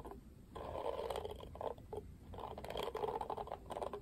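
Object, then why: Plastic cushion hairbrush. Fingertips and nails flick the dense black, pink-tipped bristles of a pink-rimmed oval plastic cushion hairbrush. Quiet bursts of rapid, dry crackling patter, centered in the midrange, swell and fade in clusters with brief lulls between them.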